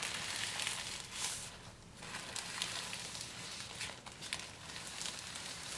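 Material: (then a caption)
Plastic film. A thin, clear plastic shrink-wrap sheet taken off a grey Baron Fig notebook box is first smoothed and rubbed flat against the box under the fingertips, then lifted and crumpled and crinkled between both hands. It makes a soft, bright, hissy rustle broken by irregular sharp crackles that swell and fade.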